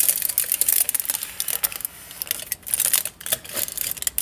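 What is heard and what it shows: Nails and fingertips scratch and crinkle the crinkled aluminium foil wrapped around a long tube. The result is a dense run of quick, bright, papery crackles and ticks with almost no low end, swelling and easing in short bursts.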